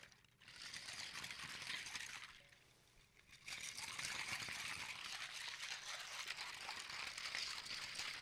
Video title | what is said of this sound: ASMR 1 Year Special 🎉🥳 My favourite triggers 😂 Scratching 😮 Tapping 👈 PERFECT SOUNDS 😴 Part 1 | Lego in water it's quite a quiet and subtle sound